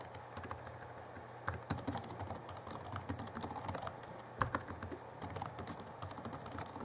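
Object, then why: Plastic laptop keyboard keys. Both hands type with their fingertips on the backlit chiclet keyboard of a 2011 Alienware M11x laptop with plastic keys. The result is a steady stream of quick, soft plastic key taps with a dull low body and short bright clicks. A few taps land noticeably louder than the rest.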